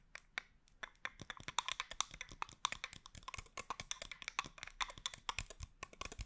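Long acrylic nails rapidly tap and scratch a small clear plastic spray bottle with a teal cap, partly filled with liquid and held close to the microphone. The result is a quick, uneven run of sharp, dry clicks with a bright, crisp edge, each dying away almost instantly over a faint scratching hiss.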